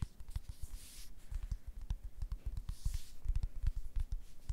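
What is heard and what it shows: Long red acrylic nails scratch and tap the printed surface and edges of a small, flat, pink printed cardboard box that looks hollow and light, held close to the microphone. The result is a quiet, dry, irregular patter of soft low thuds with no ring, mixed with faint bright scratchy rustles.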